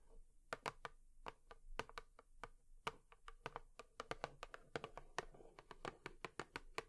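A cardboard tissue box is tapped with long nails in a quick, irregular series of short, dry taps. Each tap is a crisp click with a hollow midrange tone and bright edges that dies away at once, over a quiet background hiss.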